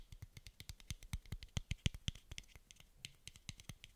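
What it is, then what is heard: Plastic dose cap. A small, hollow, frosted translucent plastic dose cap is held in both hands and tapped and scratched with fingernails. About thirty quick, quiet taps arrive in a steady rapid run, each a dull low thud with a bright clicky edge that dies away almost instantly, with faint scratchy texture in between.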